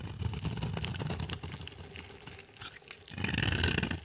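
A solid, dry, pale-yellow bar of soap is held in the hand while its face is shaved with a utility knife, peeling off crumbly curls. Dense, gritty scraping and scratching runs through the first second and a half, eases off in the middle, then returns louder and brighter toward the end.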